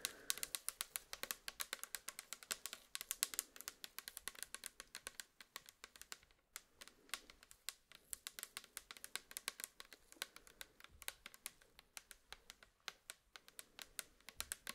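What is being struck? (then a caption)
Plastic bottle. Long manicured nails tap and tap-scratch the sides of a tall, hollow, pink translucent plastic L'Oreal micellar water bottle that is mostly full of pink liquid and held up in both hands. The result is a rapid, steady stream of crisp, bright clicks with almost no low end and very short ring. There is a brief lull around the middle of the clip.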